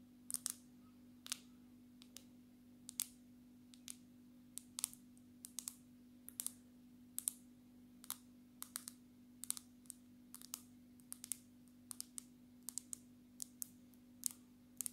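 Long natural nails tap the glass screen of a black smartphone held at an angle. Quick, bright, dry clicks come in an irregular series across the clip and die away almost instantly, over a steady low hum.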